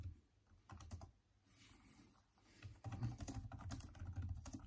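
Fast typing with both hands' fingertips on the backlit plastic keyboard of a Surface-type laptop, its hollow keys producing dense, irregular taps with a low thud and a brief bright click. Activity is sparse at first, with a softer washy stretch in the middle, then the taps pick up into a busy, steady flurry toward the end.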